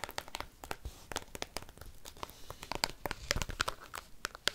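Paperclips worn on fingernails rapidly tap and scratch a black textured plastic card binder album, its clear plastic sleeve pages full of cards. The result is a fast run of sharp, bright clicks mixed with dry crinkling scratches, each stopping instantly with no ring.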